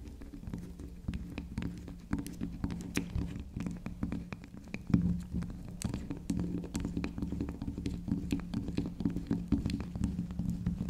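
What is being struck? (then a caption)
Soft soap bar. Long acrylic nails tap and scratch the spiral top of a small, round, solid pink soft soap, producing dense, soft, dull patters and scratchy brushing. Many quick, muffled taps sit over a low hum around 176 Hz. A few brighter clicks stand out in the otherwise muted, steady texture.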